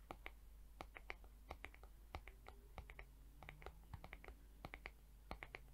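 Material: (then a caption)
Plastic. Long acrylic nails tap and scratch the flat back of a mint-green plastic hair brush head with rainbow plastic bristles. The result is a quick, irregular run of sharp, dry, bright clicks with almost no ring, over faint scratching and a steady low hum.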